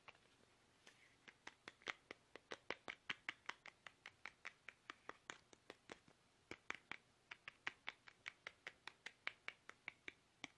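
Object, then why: Soft plastic toothpaste tube. A small, soft, hollow plastic toothpaste tube is held upright in both hands while fingertips tap it fast. About 45 short, dry, bright clicks follow one another at an uneven pace, each dying away almost at once. There is a brief pause midway before the tapping resumes.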